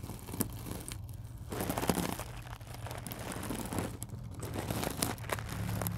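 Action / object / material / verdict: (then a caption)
scrape / coiled stainless steel mesh scrubber / stainless steel / none. A small, round, springy coiled stainless steel mesh scrubber lies on black cloth while long acrylic nails scratch and press into its wire coils. The result is a steady, dense crinkling and crunchy scraping with brief sharp crackles over a low hum.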